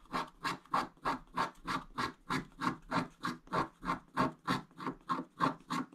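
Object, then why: Wax-coated scratch-art paper scratched with a wooden stick. A wooden stick scratches the upper area of a flat scratch-art page, a black wax coating over blue foil. It makes 18 steady, evenly spaced rasping strokes, each a short dry scrape centered around 1 kHz with bright edges.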